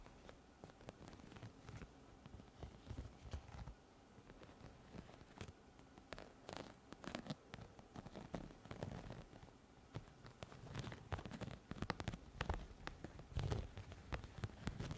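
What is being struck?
Studded plastic pouch.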